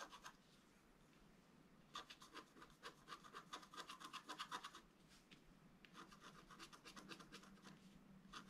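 A wooden stylus rubs and scrapes across a flat black-coated scratch art paper board. Quick, bright scratching strokes come in bursts with pauses between them, gathering into a dense run of short scrapes in the middle before easing off and returning.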